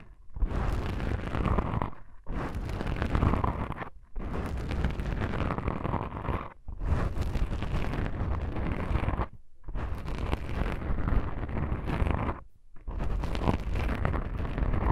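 Long pink nail tips scratch black foam microphone windscreens, producing a dense, muffled, low rumbling crackle with a faint brighter hiss. The scratching comes in several sustained stretches separated by short silent breaks.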